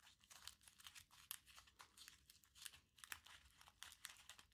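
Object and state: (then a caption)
Crumpled aluminium foil ball. A small crumpled aluminium foil ball is squeezed and rubbed with the fingertips. It gives a quiet, steady run of bright, crisp crinkling and crackling bursts with almost no low end, each crackle stopping short with no ring.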